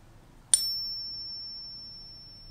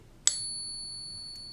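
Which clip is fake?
The first.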